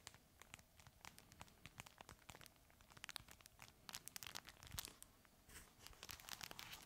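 A red fabric plush crinkle toy is held in both hands and squeezed and crinkled with the fingers. Quiet, bright crackling and crinkling comes in many short, sharp bursts, thickening into denser rustling toward the end.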